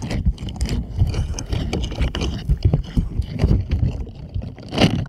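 Plastic puppet hands rub and scratch over the bristles of a purple silicone scrubber glove. The result is a continuous run of soft, low, thumping rubs and brushy scratches, with quick bright flicks from the bristles and a louder scrubbing burst near the end.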